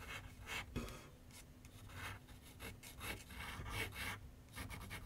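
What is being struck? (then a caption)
Pencil on paper sheet mounted on a wooden drawing board. A pencil scratches outline strokes across a large white paper sheet mounted on a board on a wooden easel with solid backing. Quiet, dry, raspy strokes come in short bursts, bright and hissy, over a faint low rumble.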